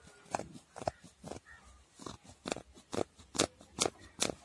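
Fingertips and nails scratch and rub the dark brown fur pile of a soft, hollow handbag, likely faux fur. About eight quick, crackly rasping strokes come in a loose, uneven rhythm, each a brief bright burst with dry hiss and no ring.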